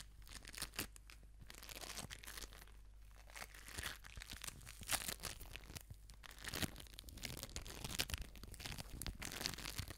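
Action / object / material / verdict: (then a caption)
scrape / foam bead ball / foam beads / none. An orange foam bead ball is held in both hands, squeezed and scratched with long nails close to the microphone. The result is a steady run of bright, crinkly crunching and scratching, with short sharp peaks over a low hum.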